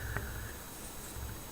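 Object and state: Nothing is struck.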